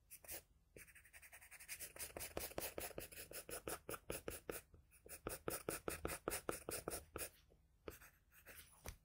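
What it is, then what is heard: Pencil drawing on paper. A wooden graphite pencil held in the fingers scratches and strokes across a flat sheet of drawing paper bearing a pencil sketch, laid on a solid surface. Quick, dry, bright scratching strokes come in fairly fast but uneven bursts, with brief pauses. The sound stays quiet and close, with no ring after each stroke.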